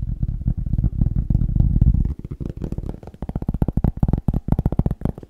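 A cork is tapped quickly, making deep, bassy, dull thuds with almost no ring. The taps blur into a dense rumble for the first two seconds, then continue as a fast string of separate knocks.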